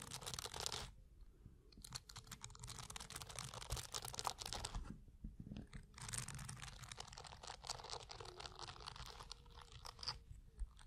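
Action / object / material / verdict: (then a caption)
scrape / dense block of plastic bristles / plastic / none. Fingertips scratch and strum across the tops of a dense block of blue plastic bristles, viewed from above. Bursts of bright, crackling scratches come in several stretches separated by quieter low rumbling pauses.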